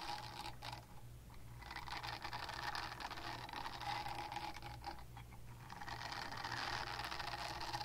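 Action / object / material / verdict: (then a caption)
scrape / silicone cleansing pad / silicone / none. Long painted nails scratch a small pink oval silicone cleansing pad held in the hand, making a continuous dense, bright rasping texture with a faint tonal ring near 820 Hz. The scratching briefly softens around the one- and five-second marks before picking back up, over a steady low hum throughout.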